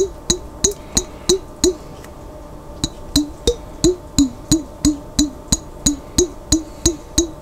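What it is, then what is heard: Glass jar holding water. A glass jar containing water is tapped in a steady rhythm, with a pause near the middle. It gives 19 short, resonant knocks that sound like a wood block, each with a pitch around 280 Hz and a bright, glassy overtone. Each knock fades quickly.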